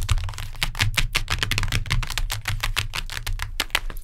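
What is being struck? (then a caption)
Hardcover book with cardboard cover. Long nails tap quickly on a hardcover book with a cardboard cover, making a rapid, steady stream of dry, sharp clicks with bright edges. Each tap dies away almost instantly, over a constant low rumble.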